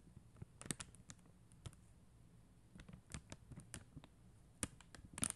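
Long mint acrylic nails tap and scratch a flat sheet of clear and blue plastic rhinestone stickers on white backing, lying on a glitter surface. Quiet, sharp, bright clicks and brief scratches come in a scattered, irregular series, with clusters near the start, middle and end over a low background hum.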